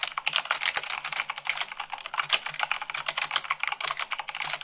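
Fast typing with fingertips and long nails on the white plastic keycaps of a black plastic mechanical keyboard. A rapid, bright stream of short clicky keystrokes, about 27 distinct hits, each dying away almost instantly, with a few sharper, louder strikes standing out.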